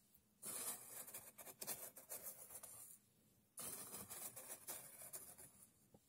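A thin red stick pokes and digs into a tray of loose, coarse sand, making a bright, gritty scratching and rasping sound. It comes in two long bursts separated by a short quiet pause. Coins sit still at the edge of the tray and are not touched.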